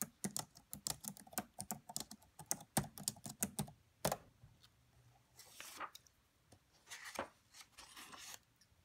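Fingertips and long white-tipped nails type on the black plastic chiclet keyboard of a red laptop, making about 27 quiet, quick clicking taps with a bright, dry attack and almost no ring, packed most densely in the first four seconds. After that, a few scattered taps mix with two longer, soft, hissy swishes.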